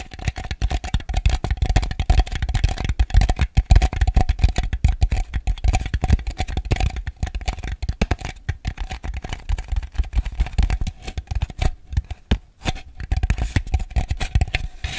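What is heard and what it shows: A small, ribbed white plastic bowl, hollow and empty, is held upside down and tapped rapidly with fingernails. The result is a dense, continuous run of quick, dull clicks with a low, thumpy body and a faint steady tone underneath. The taps come too fast and close together to count.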